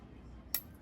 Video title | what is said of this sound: PANDAYAN NG ITAK SA AURORA | pakinggan nyo yung kanyang tunog ng itak niya. May lagiting